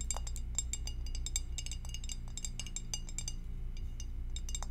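Long acrylic French-tip nails tap the walls and rim of a clear, empty rectangular glass food storage dish with a divider, held in both hands with the lid off. The taps come as quick, irregular bright clinks with a short glassy ring. A steady low hum runs underneath.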